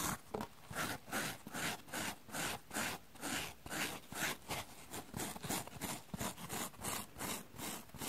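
A small, soft, light, rectangular yellow porous foam sponge, dry and held in the hands, has its face and edges scratched and rubbed with long dark-painted nails while other sponges rest untouched on a wooden table. The result is a quiet, steady run of short, bright, scratchy rubbing strokes, about two or three per second, each a dry, hissing rasp that fades quickly.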